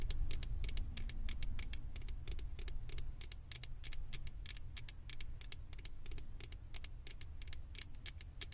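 Long acrylic nails scratch and tap the ears of a small, hollow, blue plastic Stitch figure topper fitted on a microphone. Quick, irregular, bright clicks and taps, each dying away almost at once, patter over a steady low rumble throughout.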